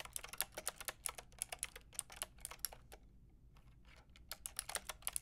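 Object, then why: Plastic mechanical keyboard with round keycaps. Fingertips and long nails type on a full pink, grey and white plastic mechanical keyboard with round plastic keycaps. Quick, bright clicky keystrokes come in bursts, with a short pause in the middle before the typing picks up again.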